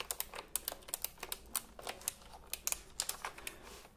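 Fingertips type on the round plastic keycaps of a retro typewriter-style computer keyboard held diagonally, producing a quick run of about 19 sharp, bright clicks. The clacks are dry and short with almost no low end, with uneven gaps between keystrokes.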